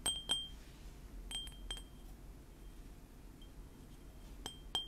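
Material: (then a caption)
Ceramic. A small white ceramic mug printed with Panda Kopanda cartoon characters is held in both hands and tapped with fingernails and fingertips. Several quiet, bright clinks ring briefly at a high pitch around 3 kHz, in loose groups with faint low rumble between them.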